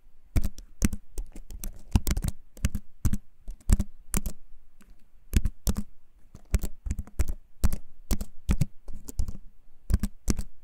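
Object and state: Wooden-frame keyboard with plastic keys.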